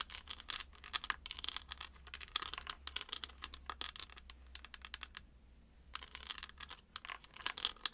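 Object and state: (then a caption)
Plastic eyeshadow palette. Long acrylic nails tap and scratch a closed, hand-sized, flat, hollow white-and-pink chocolate-bar eyeshadow palette with an embossed plastic lid, held in both hands. The result is a dense run of quick, bright plastic clicks and scratchy rasps with almost no low end. The sounds pause briefly just after the five-second mark, then resume.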